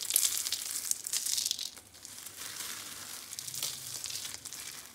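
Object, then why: Dried soap curls. Orange and beige rolled dried soap curls, hollow spirals, are crushed between both hands into flakes. A dense, bright crunching and crackling fills the clip, loudest in the first two seconds, then continuing more softly with scattered sharper snaps.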